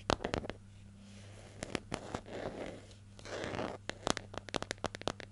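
Long nails tap and scratch the lid and label of a hollow, medium-sized yellow plastic hair gel jar with a screw lid, held in the hand. Sharp, dry clicking taps come in quick bursts at the start and end, with softer, rustling scratches swelling in between over a faint low hum.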